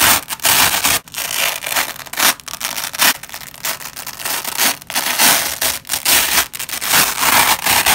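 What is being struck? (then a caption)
Nylon hook-and-loop (velcro) strip. Black-gloved hands separate a nylon velcro strip in short pulls, giving a run of bright, crackling tearing bursts with brief gaps between them. The rips are broadband hiss, weighted toward the high end with almost no low bass, and each cuts off quickly.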